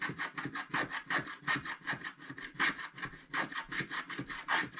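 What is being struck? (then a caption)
Scratch-art paper card scratched with a wooden stylus. A wooden stylus scratches fast strokes across the black coating of a flat scratch-art paper card. It makes a rapid, uneven series of dry, rasping scrapes, each a short burst with a bright edge centered around 1.8 kHz and almost no low end.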